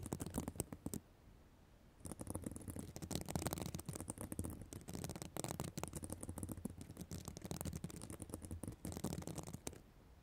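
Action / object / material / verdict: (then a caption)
scrape / plastic sequin fabric notebook cover / plastic sequins / none. Long black nails scratch the plastic sequins of a reversible sequin notebook cover close to the microphone. A brief burst of crackling, rasping scratches is followed by a short pause, then a dense, continuous run of scratching with a heavy low rumble and bright sequin clicks, before it fades to quiet.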